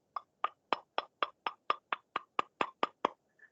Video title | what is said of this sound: 9 Síndromes Pulmonares 28-06-21 | como si estuvieran percutiendo una moneda con otra moneda similar